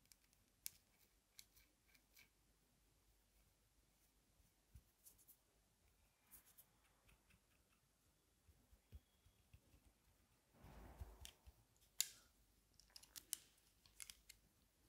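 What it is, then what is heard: Metal-frame sunglasses tapped and scratched with fingernails. Long nails scratch and tap the thin metal frame and arms of dark-lensed aviator sunglasses held in the hands. Quiet, bright clicks and ticks come at an irregular, unhurried pace, with a brief louder rustling scrape partway through. Each tap is sharp, dry and dies away at once against a near-silent background.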